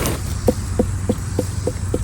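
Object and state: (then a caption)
Unripe watermelon. Knuckle knocks on an unripe watermelon whose underside is yellowing but not yet creamy give a series of short, dull thuds around 500 Hz, evenly spaced and with almost no ring, over a low steady hum. The knock sounds not quite right, so the melon is not ripe yet.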